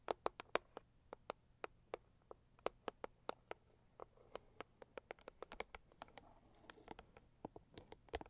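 Long acrylic nails tap and scratch the lid of a closed, hollow, medium-size pink floral Saviland cardboard gift box resting on faux fur. About thirty quiet, dry, hollow clicks with bright tops and almost no ring come in an irregular, unhurried rhythm. Soft scratching fills the gaps in the later seconds.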